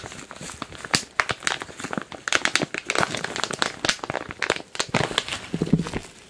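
A medium, glossy, printed plastic package filled with kinetic modeling sand is squeezed and crinkled with fingers and palms. The result is a dense run of sharp, bright crinkling and crackling bursts that swell and fade unevenly. Near the end, a faint low tone sits under the crinkles.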